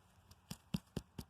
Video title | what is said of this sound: Can a "dead" tree still be alive? | It sounds pretty solid, too. Pretty sound.